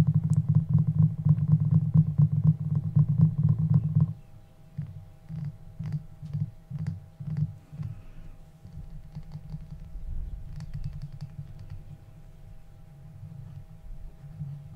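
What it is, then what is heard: Glass jar candle. A small glass jar candle with a glass lid, filled with solid pale pink wax, is held and tapped around the jar and lid with fingertips and short nails. Rapid, steady, dull low taps fill the first four seconds, then the tapping turns quieter, slower and more irregular for the rest of the clip.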